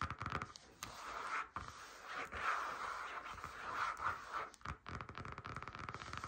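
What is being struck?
Faux leather folder.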